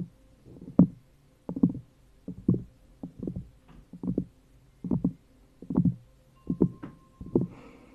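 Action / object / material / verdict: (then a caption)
scrape / thin cork coaster resting on a plastic cup / cork / none. Long fingernails of both hands scratch a round, thin cork coaster resting on an upside-down plastic cup. Short, dull, scratchy bursts repeat in a loose rhythm of about one per second. The sound is mostly low and muffled, with little bright edge and almost no ring after each stroke.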